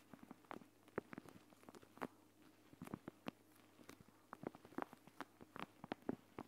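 Long, dark-painted nails tap and scratch the surface of a flat, clear plastic eye mask filled with green gel beads that lies on a woven mat. The result is a quiet, irregular stream of soft, dry clicks and patters, and it has some brief scratchy rustles between the taps.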